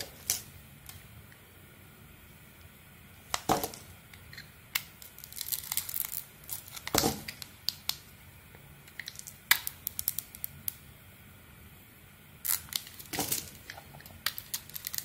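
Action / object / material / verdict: scrape / bar of soap shaved by a metal blade / soap / none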